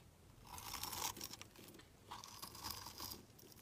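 A solid rectangular translucent green glycerin soap bar is held in the hand and shaved with a metal utility-knife blade, its scraping cuts producing curly shavings. Two bright, crisp scraping strokes are heard, each building to a crunchy, crinkling rasp with a tonal edge near 960 Hz and dense high hiss before fading.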